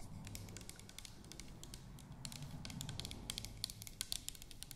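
Long nails tap and scratch the body of an orange plastic toner bottle with a white cap. Quick, bright plastic clicks and scratchy taps sound over a steady low rumble, growing sharper and more distinct in the second half.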